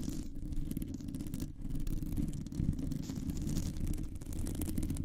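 Long nails scratch a round, hollow metal mesh microphone grille with both hands. The result is a steady, dense, muffled rumbling rasp, with most of its energy low in pitch. The scratching stays at a fairly even, quiet level throughout, with no talking.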